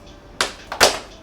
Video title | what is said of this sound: REAL TIME Chocolate Tempering (1.3kg) & Making Bonbons - Beginning to End | that was a great snap when chocolate snaps like that you know it's perfectly temped